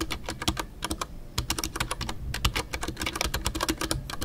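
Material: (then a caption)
Plastic. Both hands type rapidly with their fingertips on a full-size Ducky One 2 mechanical keyboard. It has a hollow white plastic case, MX Brown switches and Milky Way doubleshot PBT plastic keycaps. Dense, uneven clicks and taps come with a low, hollow thock under each press, and they run steadily for about four seconds with brief gaps.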